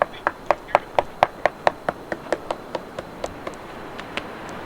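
A whale skull bone at Whaler's Cove, Point Lobos, is knocked on repeatedly, giving a quick series of dry, short knocks with a hollow mid-range tone. The knocks start strong and gradually soften, with almost no ring after each one.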